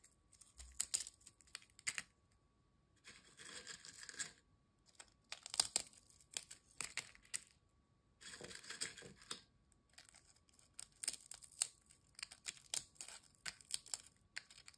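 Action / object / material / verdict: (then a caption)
scrape / ridged potato chips / potato chip / none. Thin, dry, crisp ridged potato chip pieces are snapped and crumbled by fingertips over a glass bowl of fragments. Bursts of sharp, bright crackling and crunching come in clusters separated by brief silences, with almost no low end.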